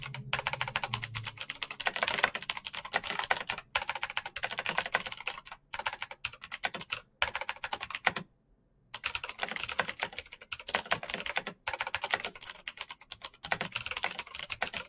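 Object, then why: Plastic mechanical keyboard. Fingertips type quickly on a black plastic mechanical keyboard with clicky switches, producing a dense stream of sharp, bright key clicks with almost no ring. Brief pauses break up the bursts, including a short silence just after 8 seconds before the fast typing resumes.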